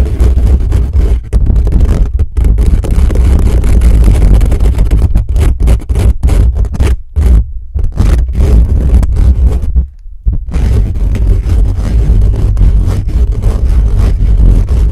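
Fingertips and nails scratch fast and aggressively over the top and along the sides of a black metal mesh microphone grille. The result is a loud, dense, bass-heavy rumble of scraping and rustling. It runs almost continuously, with a few brief dropouts where contact breaks.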